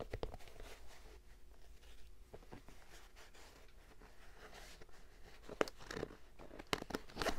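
Fingertips scratch and rub the printed canvas and suede upper and tongue of an empty lavender Vans-style high-top sneaker with a rubber sole, held in the hands. Quiet, dry scratching and rustling run throughout, with a few sharper, brighter scrapes toward the end.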